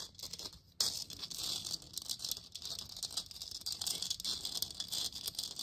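Long nails scratch and tap across a hollow plastic moon lamp sphere lit purple, with the hole in its base visible. After a soft, sparse start, the sound turns at under a second into a dense, bright, rattly scratching and pattering that runs almost continuously. Each contact is short and dry with no low-end body.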